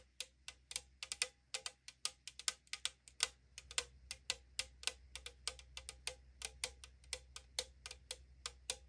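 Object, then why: Aluminum drink can. Long acrylic nails tap and scratch the printed side wall of a tall 500 ml aluminum drink can lying on a wooden table. About 40 sharp, bright clicks come in a quick irregular stream, each dying almost at once, with a faint hollow thin-metal tone near 500 Hz and a peak around 3.7 kHz. A low steady hum runs underneath.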